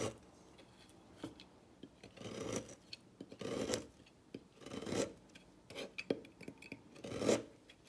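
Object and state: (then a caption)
Dry bar soap. A thin metal blade cuts and scrapes a solid turquoise bar of dry soap on a table, producing crisp, crunchy shavings. Quiet, irregular bursts of rasping scrapes alternate with short, dry clicks, focused in the midrange around 500 Hz with a bright, hissy edge and very little ring.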